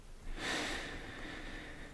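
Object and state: Nothing is struck.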